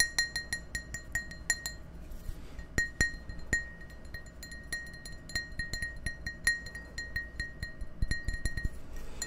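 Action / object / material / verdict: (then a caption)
tap / glass tumbler / glass / none. Fingernails tap and clink against the wall of an empty, hollow, clear glass tumbler held close in front of the microphones. The result is a long run of quick, bright glassy clicks that ring briefly around 1.9 kHz with high overtones, some taps louder than others, over a low, steady background hum.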